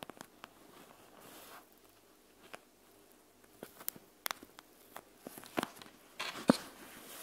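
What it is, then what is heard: Gel bead eye mask, tapped and scratched. Long nails of both hands tap and scratch a panda-face eye mask made of clear plastic filled with gel beads, lying flat on a wooden table. Sharp, bright clicks and crinkly plastic scratches come in scattered bursts over quiet pauses. A longer rustling scrape builds toward the end, topped by one louder tap.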